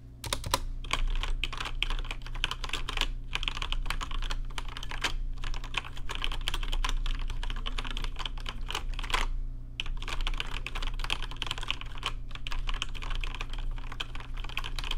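Fingertips type steadily on a rainbow-lit plastic RGB mechanical keyboard with plastic keycaps, producing a fast, continuous stream of sharp, bright clicks and clacks. A steady low hum runs underneath, and the typing briefly pauses about two-thirds of the way through before resuming.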